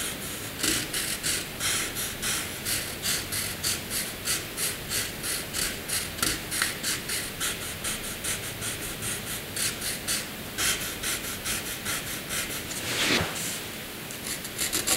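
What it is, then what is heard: Pencil shading on drawing paper. A pencil scribbles across a flat sheet of white drawing paper, filling a second box with dense shading. Steady, rhythmic back-and-forth strokes make a dry, bright, raspy scratching, with a louder sweeping stroke near the end before the pencil is lifted.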